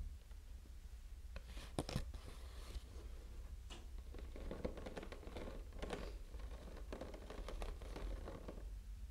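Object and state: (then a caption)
Plastic water bottle. A small clear plastic water bottle, full of water, with a blue label and cap, is tapped with fingernails in a quick typing-like pattern. The clicks are soft, short and dry, with brighter bursts that come and go, over a steady low hum.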